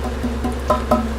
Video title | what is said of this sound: Chappee Boiller | These are hollow. You can hear that's hollow.